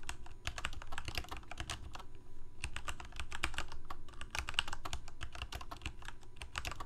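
Fingertips of both hands type rapidly on a full-size Corsair K68 backlit plastic mechanical keyboard with Cherry MX Red switches. Quick, short, bright key clicks come in dense bursts over a steady low rumble. Brief pauses fall near 2.4 and 4.1 seconds.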